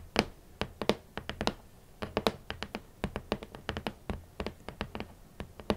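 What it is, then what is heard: Hollow cardboard shoe box lid. Long nails and fingertips tap a large, hollow red lid of a rigid cardboard shoe box. About thirty quick, dry taps land in uneven clusters, each a crisp click with a brief hollow body around 220 Hz. The bright tips die away almost instantly.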